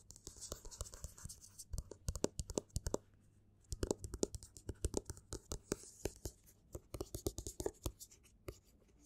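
Fingertips and nails scratch and tap the cover of a small, solid black hardcover book with paper pages and a cloth or board cover, held in one hand on a table. Quiet, dry, rapid taps and scratchy strokes come in bursts with a short pause about a third of the way in. Each tap is sharp, with a brief bright edge and no ring.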